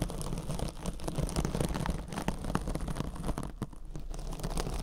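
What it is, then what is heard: Metallic scouring sponge. A soft, compressible rectangular kitchen scrub sponge wrapped in silver metallic-fibre mesh is held against the ear of a binaural microphone and scratched with long orange acrylic nails. The result is a steady, dense run of close, crackly scratching and crinkling with many tiny rapid clicks over a heavy low rumble, with little sustained ring.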